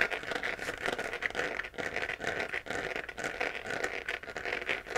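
Long nails on both hands scratch the sides of a hollow, glowing 3D-printed plastic moon lamp sphere. The result is a continuous dry, rasping scratch with crackly texture, mostly upper-mid and bright with almost no low end. Its loudness rises and falls in short strokes, with a brief dip near the middle.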